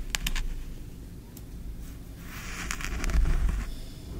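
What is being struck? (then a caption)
Kinetic sand scraped with a wooden spoon. A small wooden spoon digs into and scrapes green kinetic sand in a tray. A few sharp ticks come early, then a soft, grainy scraping grows brighter and louder near the end, over a steady low rumble.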